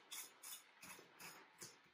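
A fried chicken drumstick from a batch of koji fried chicken, just out of the oven, is handled so its crust can be heard. Five quiet, bright, dry crackling crunches with almost no low end come in separate bursts. The crust sounds very crispy.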